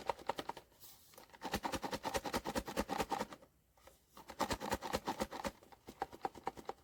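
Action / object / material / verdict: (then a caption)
shake / sealed cardboard box with a vinyl figure inside / cardboard / none. A sealed cardboard POP MART Skullpanda The Sound blind box holding a vinyl figure is shaken in a shake test, giving quick, dry rattling clicks in three bursts separated by short pauses. The knocks are short and mid-pitched with little low end. When opened, the box holds The Ecstasy figure.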